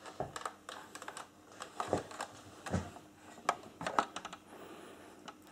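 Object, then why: Hollow plastic toy starship. Fingertips tap and scratch the ridged hull of a large, hollow, light-grey plastic Star Trek Enterprise-E (NCC-1701-E) toy starship saucer held close. The result is a quick, irregular series of short, dry, clicky taps that ring very little, with soft scratching in between.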